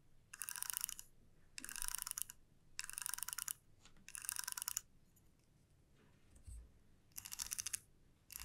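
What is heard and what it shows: Fingertips and long nails pluck and strum the teeth of a flat, light wooden comb. Repeated bursts of rapid, bright, dry clicking ripple across the teeth, separated by short quiet pauses, with the last burst cut off at the end.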